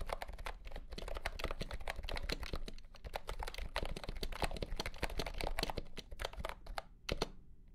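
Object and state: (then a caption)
Plastic compact keyboard being typed on. Fingertips type quickly on a compact pastel green plastic keyboard with round keycaps and a hollow body, under green light. A rapid, steady stream of short, dry clacks with a hollow low thump beneath and bright click tops, each one stopping instantly with no ring. The typing thins into a few spaced taps near the end.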